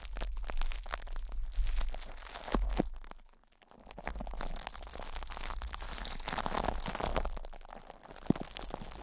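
Plastic cling film stretched over a hollow metal microphone grille is scratched by fingers, then cupped and squeezed with the fingertips. Dense, close crinkling and crunching crackles fill the clip with heavy low-end rumble, dip to near silence around the middle, then resume in a steady rustling wash.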